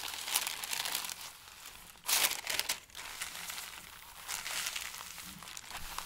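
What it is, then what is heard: Stack of thin paper sheets being crinkled. Fingertips and palms press and rub across the top sheet of a flat stack of thin, pale, tissue-like paper sheets resting on a table, crinkling it. The result is a steady, bright, papery crackle with almost no low end, swelling into a louder rustling burst about two seconds in before settling back to softer crinkles.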